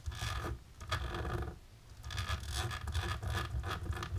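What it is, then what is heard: Embossed plastic film. Long natural pink nails on both hands scratch and rub across a flat, dark embossed plastic sheet. The result is a series of rough, rasping scratch strokes over a heavy low rumble, with a brief quieter pause midway before the scratching picks up again.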